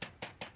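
Three light taps on the tender of a newly built plastic brick model train, the Emerald Champion. Each tap is a short, bright click that fades quickly, with a faint lower body underneath.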